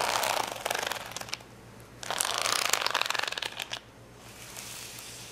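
Long fingernails scratch and tap a flat sheet of small colored acrylic rhinestones on clear plastic backing lying on a towel. Two bursts of bright, dry, crackly clicking and scratching are separated by a brief quiet pause, over a faint steady low hum. The clip ends in a softer, quieter stretch.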